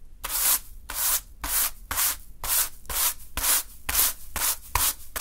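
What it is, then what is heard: Sand swept with a hand broom. A small natural-fiber hand broom sweeps through a small heap of fine green sand on a dark surface. Eleven bright, hissing rub strokes of bristles through the sand repeat at a steady brisk pace, with short quiet gaps between them.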